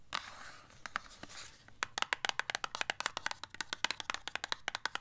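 Long acrylic nails scratch and tap along the sides of a small, slim, dark purple printed cardboard eye-product box, held closed in one hand. A soft, hissy scratching with a few taps opens the clip, then about thirty quick, dry, crisp clicks follow with almost no ring.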